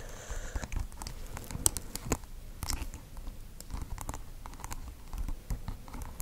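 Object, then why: Plastic beads glued on a microphone. Long acrylic nails tap and scratch across a small microphone covered in glued-on plastic pearl beads over green tape, with a white fluffy wool tuft at one end. The result is a steady patter of quick, dry clicks and scratchy rustles. Soft low thumps come from the close microphone, and short bright ticks stand out on the sharper taps.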